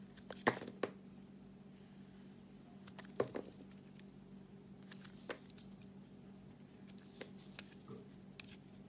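A utility-knife blade scrapes and peels the coating from the edges of a solid white-and-black spotted soap bar with a purple core, held in the fingers. Quiet, scattered sharp scrapes and crisp clicks come at irregular intervals over a steady low hum. The strongest scrapes fall near the start and just past the three-second mark.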